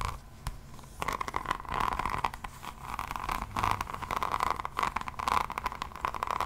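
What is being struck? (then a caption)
Notebook with resin rhinestone cover. Long nails scratch across the floral resin-drill rhinestone cover of a solid hardcover diamond painting notebook held in one hand. The result is a continuous, rough, crackly scraping with dense bright ticks and a steady tone around 930 Hz that swells and fades with each stroke.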